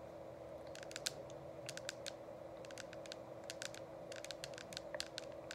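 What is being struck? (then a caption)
Plastic essential oil diffuser shell. Long acrylic nails tap rapidly on the sides of a hollow, frosted plastic dome essential oil diffuser. The result is a quick run of short, bright, typing-like clicks over a steady low hum.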